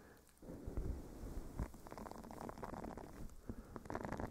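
A small, flat blue silicone face scrubber pad with bristles is held against a furry microphone windscreen and scratched with the fingernails of both hands. After a quiet start, a muffled, low, rumbling scratch begins and continues with uneven rustling bursts and soft, dull thumps throughout.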